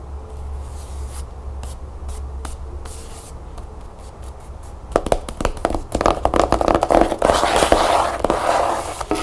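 A closed cloth-bound hardcover book with a striped tan cover is held and then laid on a table, and long nails scratch and tap across the cover. Sparse soft clicks over a low steady hum give way after about five seconds to louder, quick, irregular taps mixed with dry, bright scratching.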